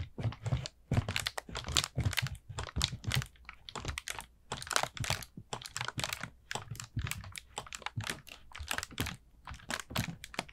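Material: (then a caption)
Paper. Fingertips and nails tap and scratch a hollow, orange, ribbed paper pumpkin lantern with a painted face. The result is a fast, irregular run of dry, papery clicks and crinkly scratches with a soft hollow thump underneath and a bright crackling edge. Each sound dies away almost instantly.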